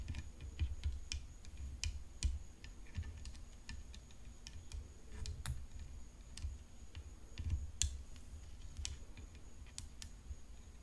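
Long fingernails tap a tennis racket in an irregular stream of short, sharp, bright clicks. Each click dies away almost at once over a steady low rumble and a faint, constant high tone.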